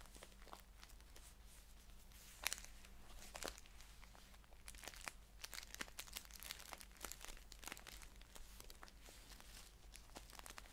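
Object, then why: Paper tea pouch. Fingers crinkle and fold the top of a green paper tea pouch held upright, then scratch across it while it is held flat. Quiet, crisp crackles and bright dry snaps come in quick bursts, the sharpest near the start, over a steady low hum.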